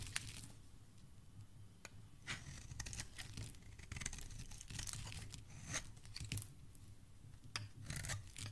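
A metal blade shaves long strips from a solid blue bar of soap, and the shavings crumble onto a pile before the bar is turned in the fingers. The sound is a quiet, dry scraping and crunching, with short bright bursts of crackle over a low, soft rumble.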